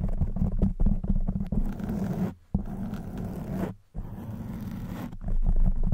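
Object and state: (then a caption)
Foam microphone windscreen being scratched. Long white nails scratch and squeeze a black foam microphone windscreen, making a dense, muffled, low scraping and rustling with rapid uneven strokes. The sound drops away in two brief pauses, near 2.4 and 3.8 seconds, before the scratching resumes and grows louder toward the end.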